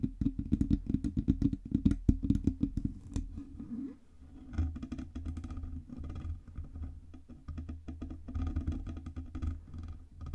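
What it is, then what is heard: Metal USB microphone body. Long red nails tap rapidly on the sides of a black Blue Yeti USB microphone, a hollow metal body on a metal stand, and on its stand knobs. The taps are short, dry and bass-heavy with a deep low thump. They come in dense bursts, pause briefly around four seconds, then continue at a slightly softer, steadier pace.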